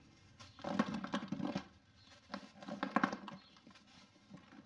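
Two hands hold a hand-sized rectangular block of dried packed sand (sandy clay soil) with a textured surface, solid rather than hollow, over a dark bowl while the fingertips rub and press it. Two bursts of soft, gritty crumbling and crackling are heard, dull and centred low with little brightness, separated by a quiet pause. The block crumbles and sand falls off into the bowl.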